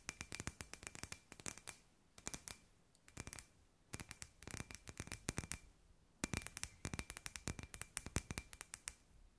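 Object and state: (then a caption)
Glass light ball. A palm-sized hollow clear glass sphere with fairy lights inside is held in both hands and tapped and scratched with long white nails. Quick, bright clicking taps come in rapid bursts separated by short pauses, with a faint steady tone around 2.5 kHz under the busier stretches. Each tap is crisp and dies away almost instantly.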